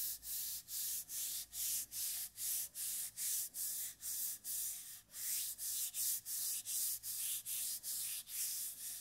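Fingers and palms rub and scratch along the body of a hollow brushed stainless steel water bottle held in both hands close to the microphone. A steady rhythm of short, bright, hissing strokes repeats at about two per second, with a faint high ringing tone underneath. Each stroke sounds airy and scratchy, with almost no low end.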